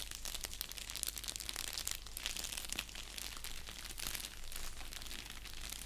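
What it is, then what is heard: Padded bubble mailer envelope. Fingertips and nails scratch and press an orange padded bubble mailer envelope resting on a blanket. The result is a dense, continuous stream of bright, crisp crinkling and scratching at a fairly even, soft level, over a steady low hum.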